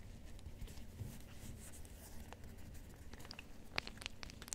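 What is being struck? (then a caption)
Fabric-covered rubber hot water bottle. Fingertips scratch and rub the pink polka-dot fabric cover of a rubber hot water bottle held close to the microphone. The result is a quiet, soft scratchy rustle over a low rumble, with sharp bright ticks and clicks piling up toward the end.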